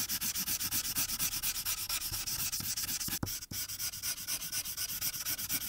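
A thin white paper coloring sheet resting on a dark board is rubbed with the felt tip of a blue marker in rapid back-and-forth strokes over the background. The result is a steady, bright scratchy rasp that pulses about twice a second, with two brief pauses near the middle.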